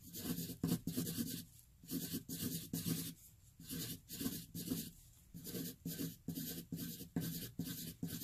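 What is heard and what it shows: A hand-held graphite pencil scribbles fast loops in the centre of a flat white sheet of paper. Bursts of dry rubbing and scratching come in quick, uneven strokes with short pauses between them. The sound is close and papery, with a low body and a bright, grainy scrape.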